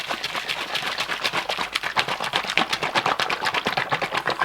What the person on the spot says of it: You can hear the note change as it starts to mix.